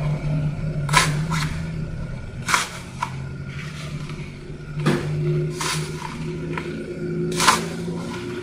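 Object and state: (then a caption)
Floral foam block crushed by fingers. Fingertips with orange-painted nails press and crush a hand-sized solid block of green floral foam, painted like a Rubik's cube with colored squares and black grid lines and already dented in places, held in both hands. Several sharp, bright crunches pop out over a steady low hum, each dying away quickly.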